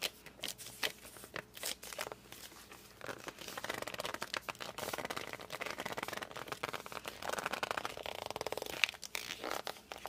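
Fingers grip and rub the glossy cover of a hardcover book, working across the back, then with the book tilted, then the front. The result is a dense run of quick, bright rubbing and squeaky friction sounds centered around 2.6 kHz, with almost no low end and no ringing after each stroke.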